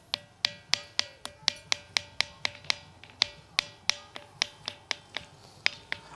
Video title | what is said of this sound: CG : क्या आपने कभी ऐसा पत्थर देखा जो घंटी की तरह बजे ? Sarguja । | जब इस पत्थर को ठोकेंगे तो इसमें एक धातु की तरह आवाज आती है